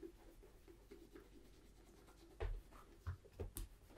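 A hollow, empty tan leather Tricker's Stow brogue boot in Acorn is held up and polished by rubbing a cloth wrapped around the fingers along its toe and side. A quiet, low, steady rubbing runs throughout, broken by four louder, dull, muffled swipes in the second half.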